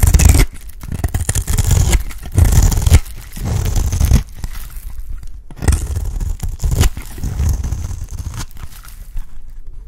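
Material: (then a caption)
Soap. A box-cutter blade shaves a round, dry, solid cream soap bar, peeling off curls. Repeated dry scraping strokes come in uneven bursts with short pauses, heavy in the low end and carrying a faint papery rasp on top.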